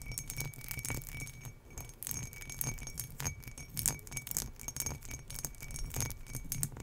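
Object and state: Embossed glass tumbler.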